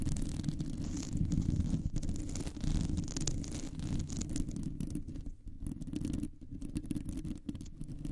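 Long nails scratch slowly across a round, hollow metal mesh microphone grille. The result is a dense, continuous scraping rumble, heavy in the low end, with faint bright scratchy flecks and irregular dips in loudness.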